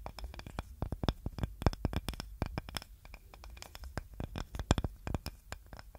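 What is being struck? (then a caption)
Small wooden cutting board. A small, light-coloured wooden serving board with a handle, solid and flat, is held in both hands and scratched and tapped with long nails. Dense, rapid, dry clicks and scraping taps follow one another with almost no ring, carrying a low, thumpy body beneath brief bright ticks.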